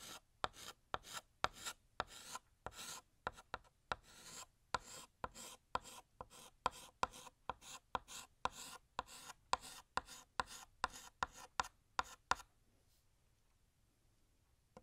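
A blue chalk stick held in the fingers draws a long wavy balloon string on a large, flat, solid black chalkboard. It makes a steady run of about 31 short, dry scraping strokes with a gritty, bright rasp. The strokes stop at around 12.5 seconds, leaving near silence.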